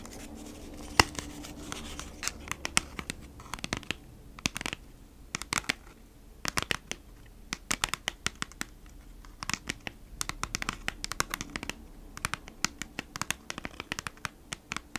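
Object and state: Cardboard package.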